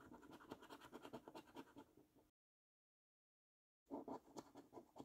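A coin scratches the coating off a thin, flat paper £15 National Lottery "5x £300,000 Luxury Lines" scratch card in short, quick, uneven strokes, giving a dry, gritty rasp. The scratching runs for about two seconds, drops to silence for a moment, then resumes with a few louder strokes.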